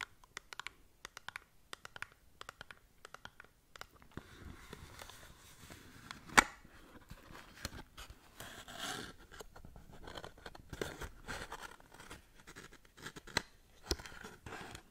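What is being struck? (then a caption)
Small cardboard product box. Long nails scratch along a small, hollow cardboard cosmetic product box, first held upright and then laid flat. Quick, sharp taps and scrapes open the clip, then give way to a steadier dry scratching with a bright, papery edge and one louder scrape near the middle.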